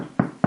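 Two quick knocks on the crust of a finished no-knead bread loaf give short, hollow thuds centered low, around 200 Hz, that die away almost at once. The hollow sound shows the loaf is baked through; inside, the crumb turned out a little denser than expected but still fine.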